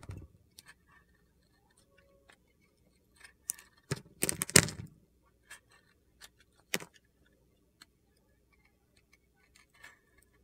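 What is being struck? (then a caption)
Glitter-coated bar soap. A solid bar soap with a blue glitter coating, held in the hand, is peeled into slices with a metal utility knife blade. Soft, scattered scrapes and ticks build to a cluster of louder, crisp, gritty crunches as the blade cuts through. A few lighter clicks follow before it trails off.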